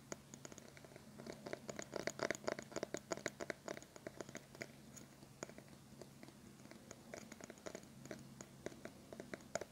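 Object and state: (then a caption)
Plastic hairbrush bristles scratched. A small teal plastic hairbrush with multicolored bristles is held in both hands while fingertips and nails scratch across the bristle tips. The result is a quiet, steady run of rapid, dry scratchy clicks and crisp ticks, with brighter bursts clustered around the first few seconds, over a faint low hum.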